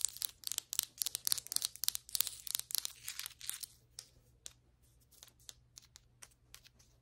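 Long white acrylic nail tips tap and scratch the surface of a flat, solid ceramic floor tile, producing sharp, bright clicks and dry scraping with almost no ring. For the first four seconds the taps and scratches come in dense, uneven bursts, then they thin out into sparser, quieter single taps over a faint low hum.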